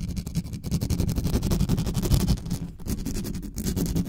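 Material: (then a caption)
Metal mesh. Long nails of both hands scratch fast across the mesh grille of a dark metal USB condenser desktop microphone. The result is a dense, continuous, rumbling scratch, heavy in low tones with rapid gritty strokes and brief bright crackles, lasting about four seconds.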